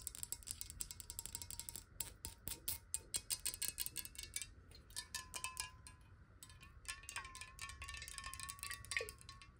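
Long nails tap quickly on the body and ridged base of a clear, square glass water bottle that is partly filled with water. The result is a fast run of sharp, bright clicks with brief glassy rings that die away almost at once, and a faint tone around 1 kHz that shifts slightly as the tapping moves across the bottle. A soft low rumble sits underneath.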